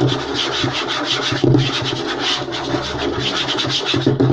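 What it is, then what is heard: Light wooden tabletop. Short nails of both hands scratch fast across a flat, light wooden tabletop. A dense, continuous rasping scrape with a bright, hissy top and a low thrum pulses in quick rhythmic strokes. It swells briefly louder about midway and again near the end.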